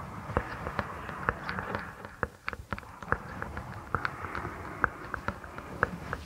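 Long acrylic nails and fingertips rub and scratch a soft purple microfiber cloth draped over a binaural microphone. A low, steady rustle runs under a quick, irregular series of short, sharp, bright scratches and clicks that die away almost instantly.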